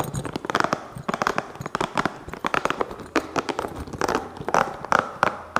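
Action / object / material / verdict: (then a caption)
tap / small rubber spiky massage ball / rubber / none. A small green hollow spiky rubber massage ball is held in both hands and rapidly scratched and tapped with fingertips. A fast, irregular run of short, dry taps and crackling scratches comes with a mid-pitched hollow knock under a bright, rustly hiss.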